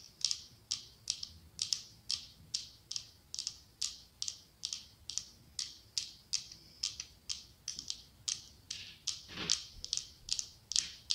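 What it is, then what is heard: Glass candle holder tapped with fingernails. Long acrylic nails tap and scratch the side of a medium cylindrical glass candle holder decorated with autumn leaves, with a candle inside. A steady, rhythmic series of quick, crisp clicks and scrapes is heard, very bright with almost no low end and no ringing after each stroke. A slightly longer, louder scratch stands out near the end.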